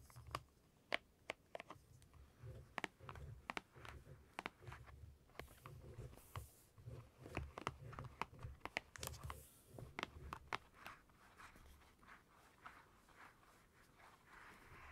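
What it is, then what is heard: Glossy magazine page brushed with a silicone brush. A purple silicone scalp massager brush is rubbed over the glossy paper of an open magazine page while the other hand holds the page. The result is a quiet run of sharp, dry clicks and ticks with soft papery crinkling and rustling over a low, bumpy rumble.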